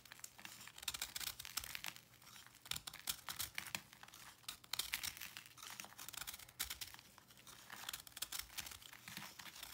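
A knife blade scrapes and cuts chunks off the edge of a round, solid white pressed salt block held in the hand, with crumbs falling onto a dark surface. Dense, bright, gritty crunching and crumbling runs through the clip in uneven bursts of short crackles, with almost no low end. It sounds like a close, dry, continuous crumble.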